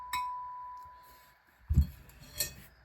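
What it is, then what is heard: Ringing steel shotgun part. A steel part of a 1906 Remington Automatic shotgun, either the barrel or the receiver, is struck to show that it rings. A first tap produces a clear, steady ring near 1 kHz that fades over about a second. Two duller, low-pitched knocks follow.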